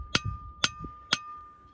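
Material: Stone.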